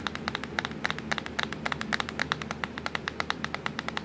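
Long pointed nails tap on the black plastic keys of a laptop keyboard, making about 33 rapid, sharp clicks over four seconds. Each click is short and bright, with a hard plastic tick centered around 1.4 kHz and almost no ring, over a faint low background hum.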